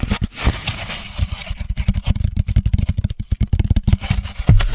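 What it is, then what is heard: Molded paper pulp cup carrier. An empty, hollow four-cup drink carrier tray of grey-white molded paper pulp, about 25 cm across, is held up close and tapped and scratched with the fingertips of both hands. A rapid, uneven run of soft, dull, low thuds mixes with papery scratching, each tap dying away almost at once.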